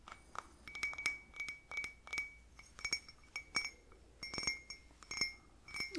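A small, plain white ceramic coffee cup with a handle, hollow and empty, is held in both hands and tapped with fingertips and nails. The taps come as an irregular series of clear, bright clinks with a ringing tone around 2.3 kHz and high overtones. Each clink dies away quickly.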